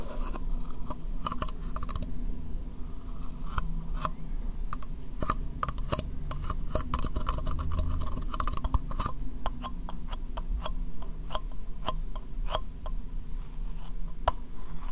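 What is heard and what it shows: Long nails scratch and tap the sides of a small, hollow, dark brown plastic cup with a white rim, held in both hands. Many quick, dry clicks and scratchy scrapes sound over a steady low hum, each tap dying away almost at once.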